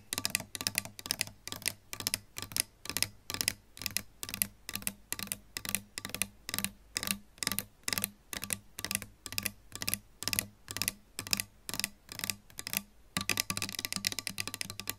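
Long pink nails tap the metal pickup cover and plastic pickguard of a solid-body electric guitar with a lacquered wood body and metal hardware. The result is quick, bright, dry clicks in steady bursts over a faint low hum, with no ring after each tap. Near the end the tapping turns denser and scratchier.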